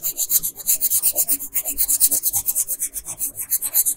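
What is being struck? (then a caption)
Wooden colored pencil on a paper sheet. A red/pink wooden colored pencil held in fingers rubs and scratches back and forth across a flat printed paper coloring page of Princess Peach lying on a table, shading in her dress. About 26 quick, evenly paced strokes are heard, each a bright, dry, raspy scratch that cuts off sharply with almost no low end.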